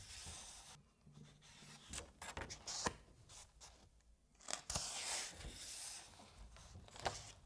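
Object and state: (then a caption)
Paper book pages being rubbed and turned. Fingers rub and turn the thin, uncoated paper pages of a hardcover novel held open. Soft, bright rustling and brushing build into sharper, crisp flicks and swishes as pages slide and flip over, with quiet pauses between.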